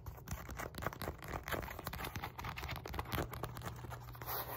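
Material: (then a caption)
Synthetic leather. Long nails scratch and tap the padded face and rim of a black padded synthetic leather focus mitt. The result is a quiet, busy run of dry scratches and soft, dull taps that stop short with no ring, over a faint, steady low hum.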